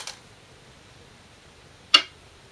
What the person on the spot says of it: I did not slam down the stones. Just normal placing.